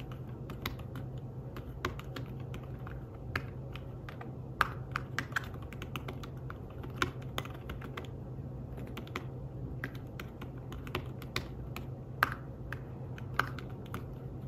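Fingertips tap the keys of a thin fabric-covered tablet keyboard case in fast typing, making soft, quick, muted clicks with a few brighter, sharper taps. A steady low hum runs underneath throughout.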